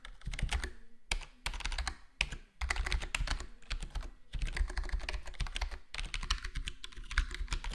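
Fingertips of both hands type quickly on a full-size black plastic HyperX Alloy Core gaming keyboard with square plastic keycaps and a foam-modded, foam-dampened case. The result is a dense, steady stream of short, muted clacks with a deep low thock and a light bright click. Brief pauses break the typing into several bursts.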